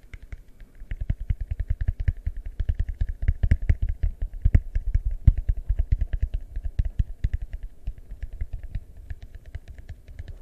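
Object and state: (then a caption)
Plastic bowl. A large, hollow, empty yellow translucent plastic bowl is held beside and over a microphone and tapped with fingertips. The result is a steady stream of quick, deep, booming thumps with faint clicky tops, each dying away almost instantly, in irregular bursts that swell louder in the middle and soften toward the end.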